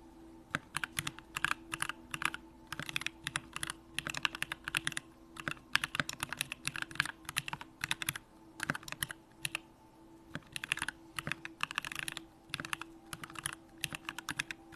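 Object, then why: Mechanical keyboard with aluminum case and plastic keycaps. A compact Bakeneko65 mechanical keyboard with an aluminum case, Durock lavender switches and pink plastic keycaps is typed on continuously with the fingertips of both hands. Quick bursts of crisp, bright keystrokes clatter with very short decay, separated by brief pauses, over a faint steady low hum.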